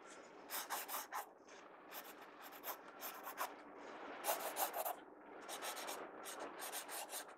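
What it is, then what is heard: Pencil shading on a sketchbook page. A pencil tip rubs shading strokes across the page of an open paper sketchbook. It makes quiet, dry, scratchy rasping bursts in quick back-and-forth runs, bright and hissy with no low end, separated by brief soft pauses.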